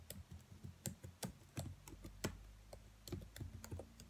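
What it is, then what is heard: Plastic laptop keyboard. Long nails and fingertips tap and type on the black plastic keys of a dark laptop keyboard. The result is a quick, uneven series of short, dry clicks with bright tips that die out almost at once, over a faint low hum.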